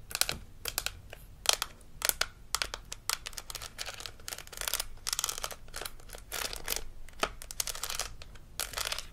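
A hollow plastic dental model with plastic teeth from a Melissa & Doug Super Smile Dentist Kit is held in the hand while long acrylic nails tap and scratch across the teeth. The result is a quiet run of bright, sharp clicks with almost no ring, mixed with crinkly, high scratching between the taps.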